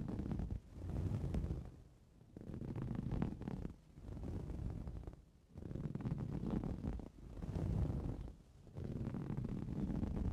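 Both hands scratch with their fingernails across a green coarse-weave fabric cushion. The result is a dense, low, rumbling scratch that comes in repeated bursts separated by brief quieter dips, with little bright content.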